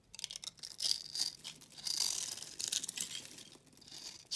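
A utility knife blade cuts and scrapes a solid white bar of soap with a cross-hatched face, held in the hand. The result is a series of dry, bright crunching and scratchy crackles in uneven bursts, with almost no low end.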